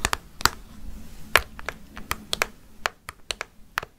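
Long fake nails tap on a hollow orange plastic jack-o'-lantern candy bucket with a handle and candy inside. About fourteen sharp, bright clicks come at an uneven pace, each one dry and quickly damped, with a faint low hum underneath.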